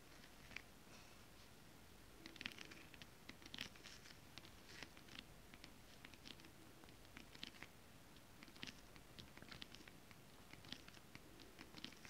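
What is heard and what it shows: Long acrylic nails and fingertips tap and rub a flat sheet of shiny holographic mermaid-scale-printed fabric. The result is a quiet, steady bed of soft rubbing and scratching, dotted with many short, bright, crisp clicks and taps that die away almost instantly.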